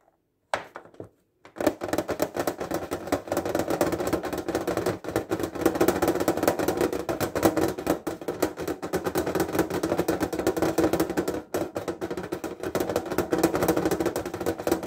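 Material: Thin metal.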